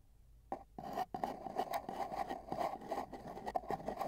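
Two metal tweezers, held one in each hand, tap and scratch along the outer surface of a long, hollow, empty brown cardboard mailing tube with tape bands, which lies on a bedsheet with a microphone inside it. After a brief quiet start, sharp taps give way to a continuous run of dry scraping and tapping. The tube's hollow body adds a boxy resonance centred around 750 Hz.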